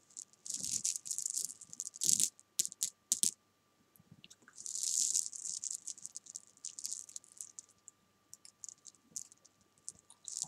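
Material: Candy.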